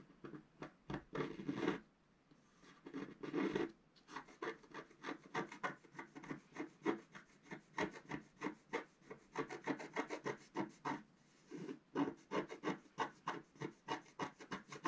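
A thin wooden stylus held in the fingers scratches away the coating of a flat black-coated scratch-art card page with a colourful underwater motif, lying on a table while the other hand holds the page down. Quick, irregular strokes make a dry, rasping scratch centred in the mid range, with brief pauses between bursts.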